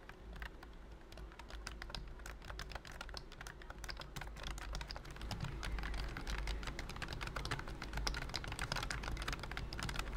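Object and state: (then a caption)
Plastic keyboard with silicone key cover. Fingertips type rapidly on the round keys of a pink and cream plastic wireless keyboard covered by a thin silicone key skin. The result is a dense, uneven stream of soft, short clicks with bright edges, and a steady low hum sits beneath it. The typing grows slightly louder over the second half.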